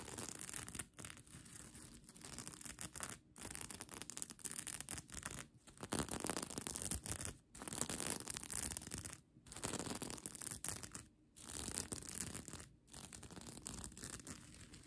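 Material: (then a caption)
Plastic. Long nails scratch across the plastic sequins of a bunched-up mermaid-tail sequin blanket. The result is a dense, bright, crackling rasp that comes in bursts broken by brief pauses.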